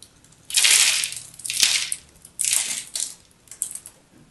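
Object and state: Bar soap being cut.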